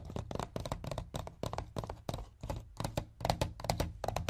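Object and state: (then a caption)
Hollow plastic DVD case. Fingertips and nails tap rapidly on a hollow white plastic DVD case resting on a wooden chest, first with both hands and then with one. The result is quick bursts of short, dry taps with a low, hollow thunk and a light clicky top, each dying away almost at once.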